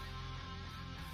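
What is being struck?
Nothing is struck.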